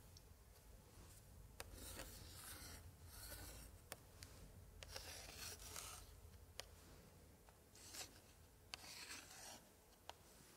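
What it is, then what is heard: Old paper scrapbook page scratched with a pointer. A gloved hand drags a thin pointer stick across an open 1880s scrapbook page with pasted printed paper pictures, held upright. Bright, dry scratching and rubbing strokes are heard, broken by several sharp ticks, over a low, steady rumble.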